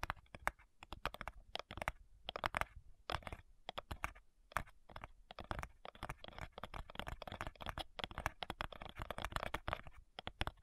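Long nails tap and scratch the front side of a flat, hollow cigar box made of light wood. Quick, dry, clicky taps come in a fast, uneven run, mixed with soft scratching. Each tap stops almost at once, with a hollow, woody knock in the middle range and a faint low thud beneath.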